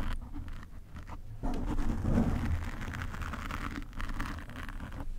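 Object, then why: Foam microphone windscreen. Fingernails of one hand scratch a black foam windscreen covering a desk microphone, producing a dense, muffled rumble of rapid scraping and rustling. The sound is heavy in the low end with little brightness, and grows louder and busier about halfway through before settling into steady scratching.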